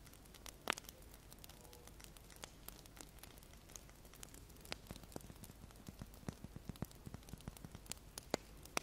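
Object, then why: Wax pillar candle. A large, solid, unlit cream-white wax pillar candle is held close in both hands while fingertips and medium nails tap and scratch along its side and top. The result is a quiet, steady wash of faint scratching broken by many short, dry clicks and taps. The taps come more often toward the end, and a few sharp nail strikes ring bright.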